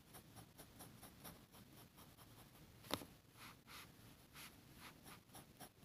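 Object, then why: Grid paper sheet scratched with a metal pen nib. A metal fountain pen nib scratches across a flat, thin sheet of grid paper on a table in short hatching strokes while shading an ink drawing, with a red plastic contact lens case sitting untouched nearby. Soft, dry, papery scratches repeat steadily with bright hiss, and one sharper tick stands out near the middle. The sound is quiet and close, with no ring after each stroke.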